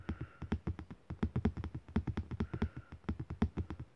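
A flat printed card postcard with an abstract Pollock-style print, lying on soft bedding, is tapped and scratched with fingertips and short nails. About thirty quick, dull, low taps come in an uneven rhythm, each dying away almost at once with no bright ring, leaving a soft, muffled patter.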